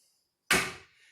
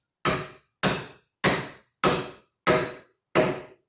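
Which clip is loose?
The first.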